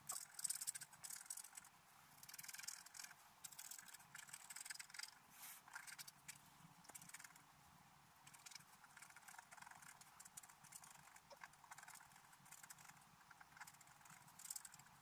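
A wooden stylus scratches the top area of a black-coated scratch art paper sheet lying on a table while the other hand holds the sheet still. The result is a continuous stream of dry, bright scratching and scraping strokes, strongest in the first few seconds and then quieter and steadier.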